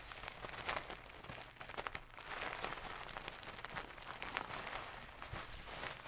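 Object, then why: Stuffed pillow with a satin cover. A medium-soft stuffed pillow with a gold satin cover is scratched and rubbed with long nails, giving a steady, quiet, bright rustling hiss. Sharp, crisp scratch ticks and swipes break through the rustle throughout.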